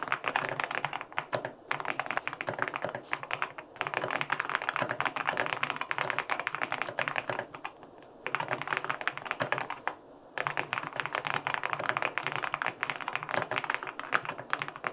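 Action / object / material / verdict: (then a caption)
tap / aluminum-cased mechanical keyboard with plastic keycaps / aluminum, plastic / none. Fingertips rapidly type on a white LINK65 mechanical keyboard with an aluminum case and white and pink plastic keycaps, producing dense, short, clacky taps with a bright midrange click. Typing runs in bursts with brief pauses around 1.5, 3.5, 8 and 10 seconds, and each keystroke dies away almost instantly.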